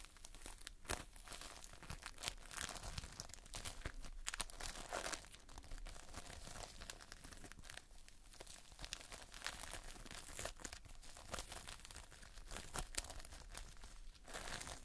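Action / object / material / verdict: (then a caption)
scrape / foam-bead modelling compound / foam beads / none. Fingers pinch and squeeze a mass of multicolored Playfoam, foam beads held in a sticky binder, close up. The sound is a quiet, steady stream of sticky crackling, crinkling and small tearing pops with bright edges, all over a faint low hum.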